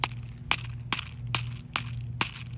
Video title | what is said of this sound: MAY DAY! MAY DAY FOR FOOD! WNC Relief Centers need food! | Hear them seeds rattling around in there when I thump it? That means that is ready.